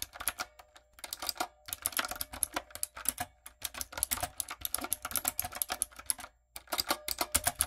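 Rapid key taps on a typewriter-style backlit mechanical keyboard with round brown plastic keycaps on a dark frame, typed with fingertips and long coffin nails. Bursts of quick, bright plastic clicks come with very short decay and little low end. Two brief pauses break the typing, near the 1-second mark and again past 6 seconds.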